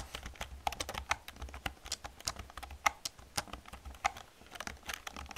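Rapid, irregular typing on a full-size black plastic computer keyboard with hollow key caps, struck by both hands with long red-painted nails and fingertips. It produces a dense run of short, dry clicks and taps, some brighter clacks standing out, over a faint low hum. Each keystroke dies away almost instantly.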